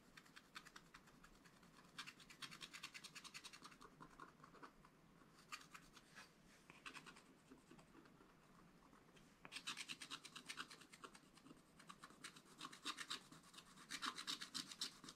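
A wooden stylus rubs and scratches the hedgehog area of a black-coated scratch-art page in a spiral-bound book. Rapid, bright, rasping strokes come in dense bursts, from about 2 to 4 seconds, 5.5 to 7.5 seconds, and most of the last 5.5 seconds. Between the bursts, softer, duller scraping fills the gaps.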